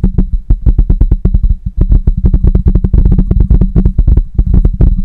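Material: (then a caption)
Metal mesh. Fingertips of both hands tap rapidly on the metal mesh grille of a black microphone, producing a fast run of short, deep, thumping knocks with almost no ring. A faint, steady high tone runs beneath the tapping.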